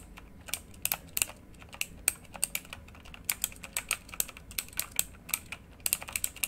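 A full-size plastic mechanical keyboard with RGB-lit keycaps is typed on quickly by the fingertips of both hands. Sharp, bright key clicks come in irregular bursts, each dying away almost instantly over a faint low background.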